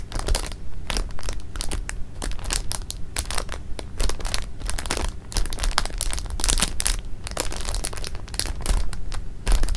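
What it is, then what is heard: Plastic bag of jelly beans. Fingertips and nails press, rub and squeeze the jelly beans inside a flat, rectangular, clear plastic bag lying on pink fabric, working the beans through the thin plastic film. The result is a steady stream of quick, bright crinkling and crunching bursts of the thin plastic over a constant low rumble.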